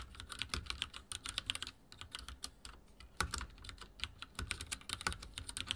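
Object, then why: Mechanical keyboard with plastic keycaps. Fingertips of both hands type rapidly on a backlit mechanical keyboard with dark plastic keycaps and a silver frame, resting on a wooden desk. Quick, sharp, bright clacks come in dense bursts, each with a short low thud underneath, easing into a lighter patch midway before a hard strike restarts the fast typing.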